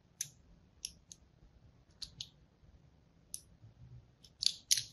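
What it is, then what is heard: Soap bar scored with a blade. A fine blade scores lines into the face of a hand-held, solid pink and white striped soap bar. It makes eight short, bright, crisp scratching clicks at irregular intervals over near silence, and the last two strokes are the loudest.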